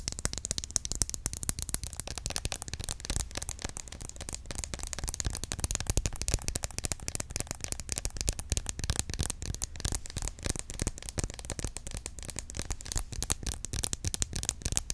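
A green plastic roll-on deodorant bottle is tapped rapidly with long nails, first held upright and then held sideways. A dense, continuous stream of quick, crisp plastic clicks runs throughout, over a steady low hum.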